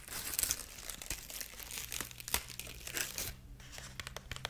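Long nails scratch and rub the dry husk strips of a dried corn husk rabbit figurine, making a steady run of bright, crisp crinkles and scrapes. Short sharp crackles stand out above a faint low hum.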